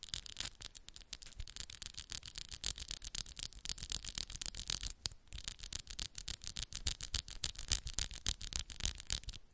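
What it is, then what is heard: Acrylic nails scratching and tapping. Long, solid pink and black acrylic nails on both hands rub and scratch against each other in a fast, uneven stream of sharp clicks and scrapes. Each scrape is a bright, hissy burst with a faint low thump underneath. The strokes pause briefly around the middle, then continue at the same quick pace.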